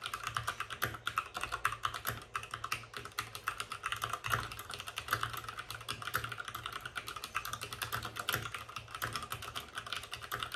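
Fingertips of both hands type fast on a white RGB-backlit mechanical keyboard with plastic keycaps and a hollow plastic case. The result is a dense, steady stream of sharp, bright plastic clacks centered around 1.4 kHz, each dying away almost instantly. A faint hollow low thump sits under the keystrokes.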